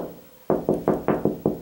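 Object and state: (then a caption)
Hollow drywall with no stud behind. Six quick knocks on a drywall wall about 16 inches over from the last stud give a hollow, mid-pitched thud with a short ring. The spot sounds hollow between studs, with no stud behind it.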